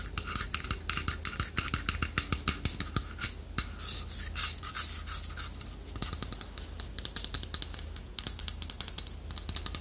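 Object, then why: Small carved wooden figurine. Long nails tap and scratch the beak of a small, solid, polished wooden toucan carving held close. Quick, sharp clicks with very short decay come in bursts over a continuous bright, raspy scratching. A faint steady low hum sits underneath throughout.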